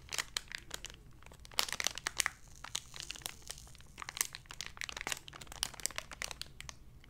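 Long nails crinkle and pull at the edge of a small clear plastic blister package holding a card insert and a pink lanyard. The result is a steady run of bright, crisp crackles and sharp plastic snaps with short bursts of louder crunching, all dying away quickly over a faint low hum.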